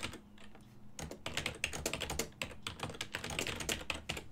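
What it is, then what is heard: Plastic computer keyboard. Fingertips of both hands type on a full-size black and silver plastic desktop keyboard whose keys sit on a hollow body. After a sparse, quieter first second, a quick run of bright, sharp clacks follows, each dying away almost instantly over a faint steady low hum.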